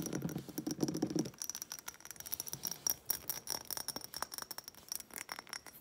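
A small, bumpy-textured glass reed diffuser bottle with wooden reeds and some liquid inside is held and tilted while long nails rapidly tap and scratch it. A dense, fuller rustle opens the clip for about the first second, then gives way to a quick run of light, bright clicks and glassy ticks with a faint high ringing tone throughout.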